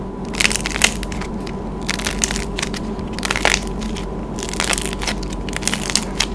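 Hands squeeze a palm-sized pastel swirl lollipop made of dried clay on a wooden stick, cracking its hardened painted crust over soft yellow clay with fingertips and thumbs. Dry, bright crackles and crunches repeat in quick bursts over a steady low hum. The brittle shell ends up crumpled into fragments.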